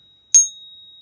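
A genuine American Silver Eagle silver bullion coin is pinged once, giving a single bright, high metallic ring with several sustained tones and a steady high note that lingers to the end of the clip. The ring is a good, perfect match for the expected tone of real silver.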